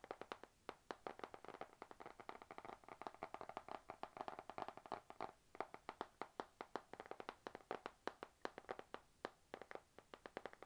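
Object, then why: Spiral notebook with glossy card cover. Long nails tap quickly and steadily on the glossy cover of a panda-print spiral notebook held in both hands. The taps are short, dry clicks with no ring, centered in the midrange, and they come in a fast, uneven stream that grows busier through the middle of the clip. The overall sound is quiet.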